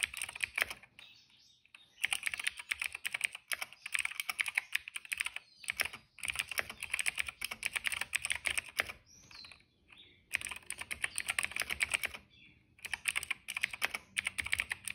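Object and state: Plastic mechanical keyboard.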